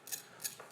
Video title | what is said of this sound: HSN - Chef Curtis Stone 01.13.2024 - 06 AM | the crispness if you listen to this can you hear just how crispy that is